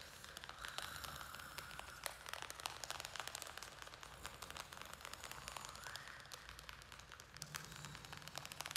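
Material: Plastic.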